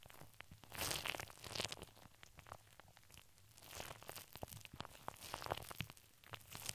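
Fingertips and long nails cup and scratch the steel wire-mesh of a hollow dome microphone grille. The result is bright, dry scratching and crinkling with quick clicks and short, swelling bursts of rasp. The loudest stretches come near the first and second seconds and again around four to five and a half seconds.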